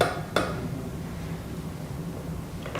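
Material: Steel.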